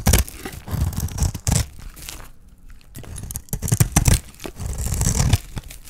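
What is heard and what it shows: A small metal blade held in the fingers shaves strips from a solid green dry soap bar, partly in dark wrapping. Repeated crunchy, tearing scrapes come in quick bursts, heavy in low thud with a light bright edge. A brief near-silent pause falls midway before the shaving resumes.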